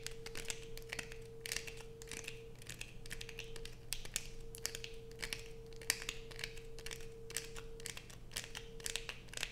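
Long pointed nails dig into a solid light-blue bar of soap with a carved surface, held in hands, scratching off curls of soap. Quick, bright, dry scratches and clicks come in bursts over a steady low hum and a faint constant mid tone.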